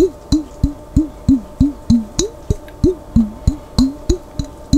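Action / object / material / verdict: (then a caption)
tap / glass jar with lid holding some water / glass / none. Fingertips tap the white-topped lid and body of a large, clear glass Vlasic pickle jar held on its side, hollow and partly filled with water. Fifteen soft, dull, low thumps come in a fairly steady, slightly uneven rhythm, each with a brief watery bend in pitch and almost no ring.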